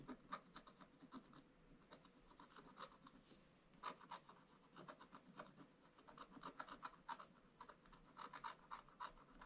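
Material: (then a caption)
Coated paper. A wooden stylus scratches the black coating near the top of a scratch-art paper picture page in a book lying flat on a table, while the other hand holds the page. Quick, uneven rasping strokes come about four per second, each a short dry scrape with a bright edge and a gritty tone around 1.2 kHz. There is almost no low end and no ring after each stroke.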